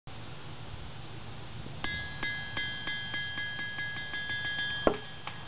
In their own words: Crisp 191 lb Brooks (England) anvil rebound test with 1/2" ball bearing.